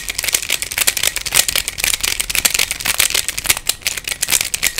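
Fingertips twist the layers of a hand-sized black plastic Pyraminx, a pyramid twisty puzzle with coloured stickers and a hollow mechanism. It gives a rapid, continuous run of dry, rattly plastic clicks. The clicks are bright and high, die away almost instantly, and carry almost no low end.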